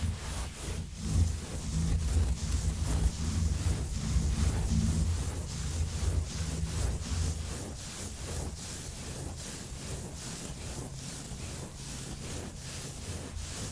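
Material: Nothing is struck.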